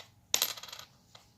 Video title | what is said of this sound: Let's find some Wheaties!!!🦖💰🤓 | just the higher ting to it